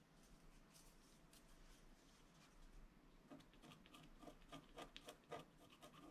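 A wooden stylus scratches a flat, black-coated scratch-art card resting on a table in short strokes. Quiet, dry rasping starts as soft, continuous scratching, then turns into more distinct, brighter scrapes at an uneven pace in the second half.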